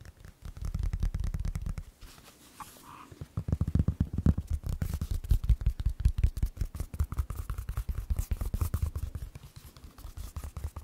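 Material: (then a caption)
Knit fabric. A single hollow white sneaker with a knit fabric upper and rubber sole is held in both hands while fingertips and nails scratch and tap along the upper and sole. Dense, irregular, low thumping taps and soft scratches come in rapid bursts. A brief quieter scraping stretch near the two-second mark interrupts them.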